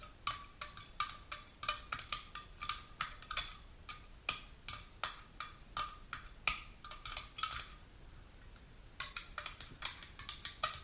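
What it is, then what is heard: Aluminum drink can. Long pink-polished natural nails tap and scratch the metal top and rim of a small, unopened aluminum aloe vera juice can held in both hands. The result is a quick run of bright, dry clicks with a faint metallic tone near 1 kHz, each dying away almost instantly. There is a brief pause near the end before the tapping resumes.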